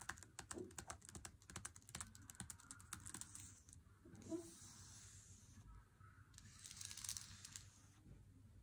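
An unopened Lindt Swiss Classic dark chocolate bar in its paper wrapper, lying flat on a wooden table, is tapped and scratched with fingertips and nails. A quick run of light, crisp paper taps fills the first few seconds, then gives way to longer stretches of dry, hissy scratching across the wrapper.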